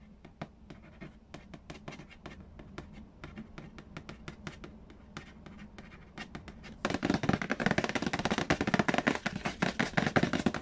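Fingernails tap and scratch the printed lid and front edge of a large, hollow cardboard Payday board game box. For the first several seconds there are quick, sharp, dry taps over a soft low hum. Just before the seven-second mark it switches to a louder, denser flurry of bright scratching and rapid tapping that runs to the end.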